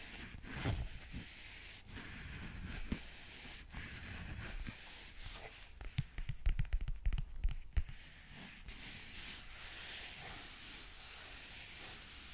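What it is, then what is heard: Leather wallet scratched. Fingertips rub and scratch the surface of a closed black leather zip wallet held upright in one hand. A soft, steady dry rustle runs throughout, with a denser burst of quick, scratchy taps in the middle.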